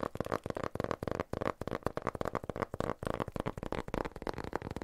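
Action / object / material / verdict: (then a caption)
tap / small cardboard box / cardboard / none. A small, empty-looking rectangular cardboard box, printed white and blue with a barcode label, is held in both hands and tapped and scratched with fingertips and nails. It gives a rapid, steady run of about seventeen dull, hollow taps with scratchy friction in between. Each tap is short and papery, with a low-mid body and almost no bright top.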